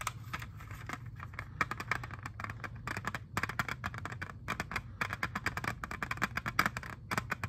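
Fingertips and nails tap and scratch the surface of a small, flat, hollow, clear hard plastic jewel case holding an Xbox 360 game disc. Quick, dry, clicky taps come in rapid, uneven bursts with bright scratchy edges. A steady low hum runs underneath throughout.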